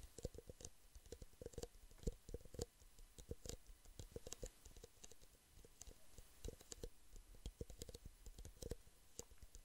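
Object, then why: Empty plastic drinking cups. Fingertips and nails tap rapidly on the sides of two identical empty, small, hollow clear plastic drinking cups, one held in each hand near the microphone. The taps are quick, light and clicky, with a hollow midrange knock and a soft low thump, each dying away almost instantly. They fall in uneven bursts throughout at a quiet level.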